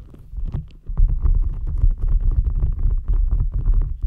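A green rubber gel-bead squishy stress ball resting on top of a microphone is squeezed and rubbed with fingertips and nails. It makes a dense run of deep, muffled squelching and rumbling pulses, nearly all low in pitch. The sound starts quiet and grows louder and steadier after about one second.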